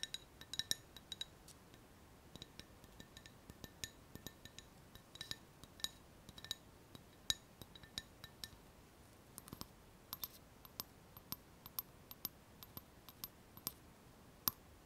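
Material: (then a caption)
Glass. An empty, hollow clear glass cup with a handle is held in both hands and tapped with long painted fingernails. About forty quiet, sharp clinks sound in an irregular stream, some in quick clusters. Each is a bright, high tick that dies away almost instantly.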